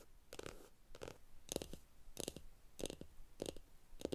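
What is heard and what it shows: Long acrylic nails tap and scratch the top edge of a small rectangular block of solid pine wood resting on a stack of comic books. The sound is a series of short, dry, woody clicks in quick pairs and clusters, centered around 500 Hz, with scratchy brighter texture on top. Each sound dies away almost instantly, with quiet gaps between them.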